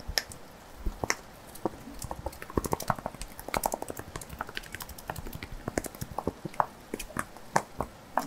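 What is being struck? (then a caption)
Small wax-filled glass jar with metal lid. Fingertips and nails tap and scratch the glass sides of a small glass candle jar, filled with pink solid wax and topped with a metal lid, held in one hand. The result is a quiet, irregular series of short, sharp clicks and taps with bright edges and a slight glassy ring near 860 Hz. Soft scratchy rustling fills the gaps between taps.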